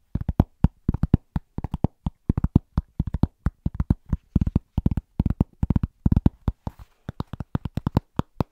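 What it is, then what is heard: Cork trivet. A large, thin, solid round pressed-cork trivet, held in both hands, is tapped quickly with fingertips and short nails. The result is quick rhythmic clusters of dull, low, deadened taps with no ring, and a brief soft scratchy rustle near the end.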